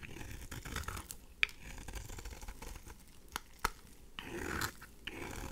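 A craft knife blade scrapes curled flakes from a thin remaining slab of pink dry bar soap. The result is quiet, dry, crackly scratching and rasping with a few sharp clicks. A longer, brighter scrape swells near the end.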